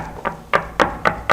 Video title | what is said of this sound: 뭐든 물어보세요, 전부 공개하겠습니다... [쇼핑라이브 다시보기] | 똑같은 힘으로 두들겼을 때 둔탁한 소리가 나고